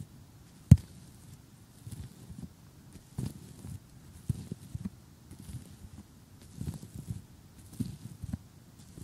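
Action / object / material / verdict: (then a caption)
tap / assembled cardboard jigsaw puzzle / cardboard / none. Fingertips with short painted nails tap and drum on the surface of a large assembled cardboard jigsaw puzzle lying flat on a table. The sound is a series of soft, dull thuds in irregular clusters, mostly low in pitch, with one sharper tap near the start and faint bright clicks on some strikes. Each tap dies away almost immediately.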